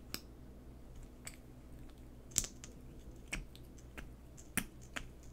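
Long painted fingernails tap and scratch a small, hollow, peach-coloured plastic liquid lipstick tube with a black cap, held in both hands. Seven short, sharp, bright plastic clicks stand out over a quiet, steady low hum. Each click dies away almost instantly, with faint scratching between them.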